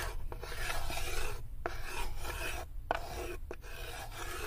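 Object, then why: Unfinished wooden tray. Long nails scratch across the inner floor and side of a light, unfinished wooden serving tray that sits open and empty. The result is a steady, dry rasping in long strokes, with brief pauses between them and a low rumble underneath.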